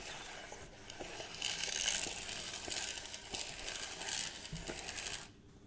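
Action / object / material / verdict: scrape / plastic measuring tape reel / plastic / none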